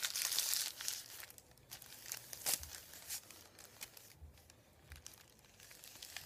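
Fingertips rub, press and crinkle a thin sheet of printed white paper resting on a wooden table. A dense crinkly hiss opens the clip, then gives way to scattered sharp crackles, with one louder snap near the middle. The sound is quiet, dry and almost entirely high-pitched.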